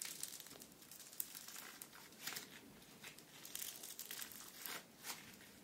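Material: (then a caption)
Foam beads. Pink bead-filled foam slime (floam), soft and solid, is kneaded and squeezed by both hands with fingertips and nails. It gives a quiet, bright, crinkly crackling with little low end, swelling in short bursts as the beads pop and shift.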